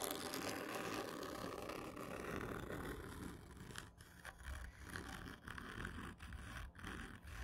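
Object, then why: Cardboard tube. Long painted nails scratch slowly and hard across a hollow black printed cardboard whisky gift tube lying on its side on a table, its slightly textured surface dotted with gold medal stickers. A dense, continuous rasping scrape fills the first few seconds, then breaks into separate rough strokes with short pauses between them, carrying a hollow resonance from the tube.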